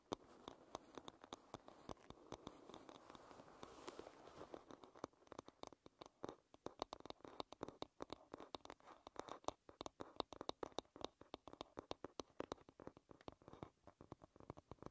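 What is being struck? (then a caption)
Wooden paddle hairbrush. Long red nails tap and scratch the wooden back of a paddle hairbrush. The first few seconds are a dense, continuous scratching rasp, which gives way to quick, dry, sharp taps with almost no ring. The sound stays quiet throughout and sits mostly in the mid range.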